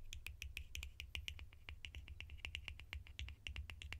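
Sharp, rapid tapping on plastic lids produces a quick run of short, bright clicks with very little ring. The clicks peak in the upper mids with crisp high overtones, over a steady low hum.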